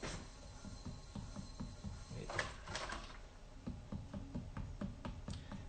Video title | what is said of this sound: Live Broadcast: Steven Young Lee finishing cups | nice hollow sound that sounds right to me like if it's too thin it'll sound almost like paper and if it's too thick you don't really hear much of anything